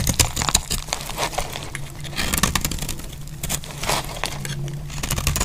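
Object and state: Dry soap bar being scraped.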